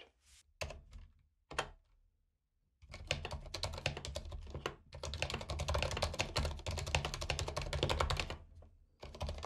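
A compact white mechanical keyboard with plastic keycaps and RGB backlight, lying on a carpet, is typed on with the fingertips of both hands. A few separate clacks open the clip, then a pause gives way to fast, irregular runs of keystrokes with short pauses. Each press gives a sharp, dry clack with a low thock and a bright click on top.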